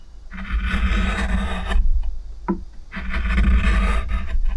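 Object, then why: Wooden plate and steel gouge. A steel spoon gouge, gripped by fingers, carves and scrapes near the rim of an oval, pale wooden plate with a shallow hollow, visible grain and a few shavings. Two long, raspy scraping strokes are heard, separated by a short, sharp tick of the tool. A steady low rumble runs underneath throughout.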